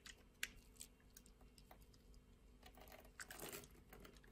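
A utility blade scrapes and cuts thin strips off a translucent orange bar of soap. Soft, crisp clicks and light scraping ticks come in quick irregular bursts, bright and quiet over a low steady hiss, each dying away almost at once.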